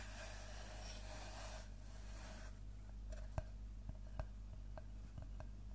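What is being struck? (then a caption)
Wooden log slice. A large round slice of solid tree trunk with a bark edge is tapped and scratched on its cut face with fingertips and nails. A bright hiss of scratching fills the first couple of seconds, then sharp, dry taps stand out over a low steady hum, with the loudest at about 3.4 and 4.2 seconds.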